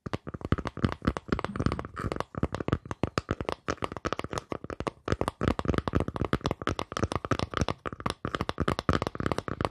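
Fingers tap rapidly and continuously on a wooden surface. Each tap is short, dull and low-toned, dying away almost instantly with little ring.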